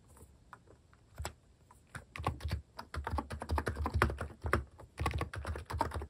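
Fingertips type on a plastic keycap mechanical keyboard, starting with a few sparse, quiet taps before breaking into quick, uneven bursts of typing. Each keystroke is a short, dull clack with a low thump and almost no ring, and the clatter grows louder and denser through the second half.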